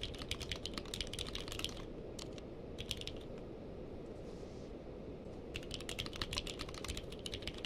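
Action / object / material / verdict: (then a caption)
tap / mechanical keyboard with plastic keycaps / plastic / none. Fingertips of both hands type on a purple-case mechanical keyboard with plastic keycaps, giving rapid, bright clacking keystrokes. The typing comes in bursts: a fast run at the start, a few scattered presses, a pause of about two seconds, then another fast run to the end. A steady low rumble sits underneath throughout.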